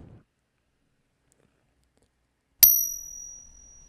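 A suspected counterfeit silver Peace dollar is struck once for a ping test, giving a sharp strike and a thin, high ring with a lower tone that fades over about a second. A phone app that checks precious-metal coins by sound reports that the ring does not match a 90% silver coin of that size. Magnet, visual and acid tests also confirm the coin is fake.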